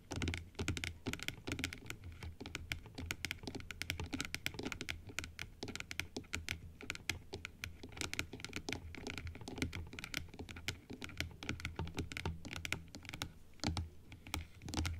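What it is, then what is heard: Plastic dental teeth model. Long acrylic nails tap rapidly on the individual teeth of a plastic dental typodont held open, producing a dense, steady stream of short, dry clicks. Each click is bright and crisp, has a light low thump beneath it, and dies away almost instantly.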